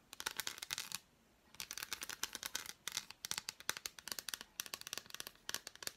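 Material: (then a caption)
Chocolate. Long black nails tap and scratch across the embossed squares of an unwrapped, hand-sized solid dark chocolate bar. The result is a quiet string of crisp, bright clicks and short scratchy bursts with almost no low end, broken by brief pauses.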